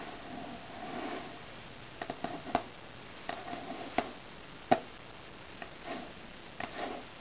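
Red-painted fingernails and fingertips tap and scratch the cover of a closed glossy Self paper magazine, a solid stack of pages lying flat on a wooden table. Nine short, dry taps come out irregularly against soft, papery scratching swishes. Each tap stops almost at once, leaving a quiet hush between sounds.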